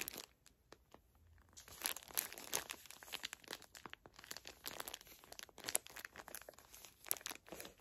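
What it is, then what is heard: Plastic-wrapped pocket tissue pack. Long nails crinkle and scratch the plastic film wrapper of a full, small pocket pack of facial tissues. Quiet, bright crinkles and crackles start sparse, then turn into a dense, continuous stream of short, sharp snaps after the first couple of seconds.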